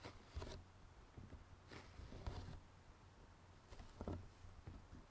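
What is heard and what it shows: A closed, printed cardboard jigsaw puzzle box, hollow and filled with puzzle pieces, is tapped and scratched with fingertips and nails on its glossy lid. Soft, irregular taps with a low, dull thud mix with brief bright scratchy swipes over a quiet low hum.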